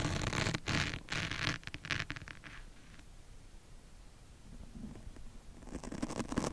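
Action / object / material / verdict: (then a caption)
scrape / foam microphone windscreen / foam / none. A steel double-edge razor blade held in the fingertips scratches and scrapes along the side of a medium-sized black open-cell foam windscreen, soft and porous, fitted over a microphone capsule. Close, rough scratching bursts with a muffled low rumble fill the first couple of seconds, then thin into quieter scraping. The scratching grows brighter and louder again near the end.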